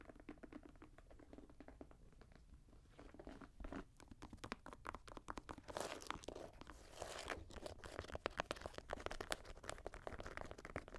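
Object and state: Synthetic leather and mesh high-top sneaker.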